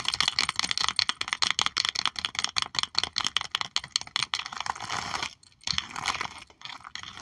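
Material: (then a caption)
Plastic. Both hands tap rapidly with long acrylic nails on the clear plastic sleeves of an open sticker album holding puffy stickers. The result is a dense run of sharp, bright, dry clicks with almost no low end, broken by a brief pause just past five seconds before the tapping resumes.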